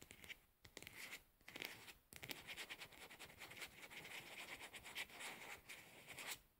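A plastic cosmetic pad jar is held in both hands while long nails scratch and tap its pink plastic lid and the lid's edge. The result is a dense run of bright, dry scratching and quick clicky taps, centered in the upper mids around 2.3 kHz with almost no low end, and brief quiet gaps between bursts.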